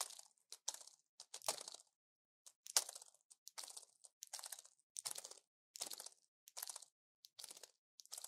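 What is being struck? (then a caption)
Plastic and foil pill blister pack. A small orange plastic blister pack with foil backing, full of pills and held in one hand, is tapped on its hollow blisters with a long fingernail. Quiet, bright, crinkly clicks and crunches come in short, irregular bursts with brief pauses between them. Each burst dies away almost at once.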